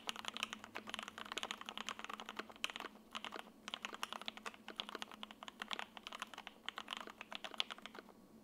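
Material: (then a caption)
ABS plastic. Steady typing with the fingertips of both hands on an 80% F1-8X mechanical keyboard in silver and lavender, with a sandwich PC plate, foam and linear switches, resting on a desk mat. Its ABS plastic keycaps give a quick run of short, bright clacks that stop dead with almost no low end.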